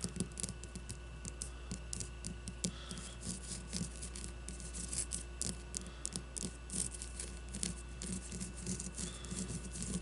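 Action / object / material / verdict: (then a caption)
scrape / leather-covered baseball / leather / none. Long blue-painted nails scratch and tap a solid leather-covered baseball with red stitching resting on a wooden table. Dense, crackly scratching with bright, high rasps mixes with soft, low taps. A steady low hum runs underneath throughout.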